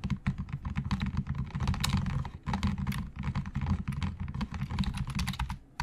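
Fingertips of both hands type fast on the hollow plastic keys of a black plastic Logitech full-size keyboard on a desk. Rapid, overlapping clacks have a thick, low-heavy body and short, dry tails. The typing pauses briefly near the middle, then continues steadily and fades out at the end.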